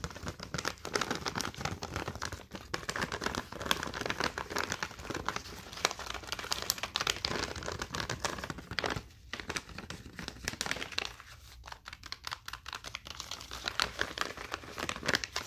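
A small plastic Snack Club toasted corn bag, partly full of corn kernels, is held in both hands while fingertips and nails crinkle and squeeze it. Dense, bright crackling and rustling continue steadily throughout, with a few short quieter pauses between bursts of sharp crinkles.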